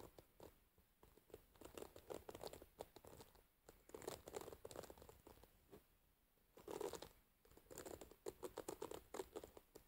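Long white-painted nails scratch and pluck through the metal pins of an oval wooden paddle hairbrush, its pins set in a dark rubber cushion, while it is held on a lap. Quiet bursts of rapid, dry crinkly scratching and pattering clicks come and go with brief pauses between them, with a few sharper plucks standing out.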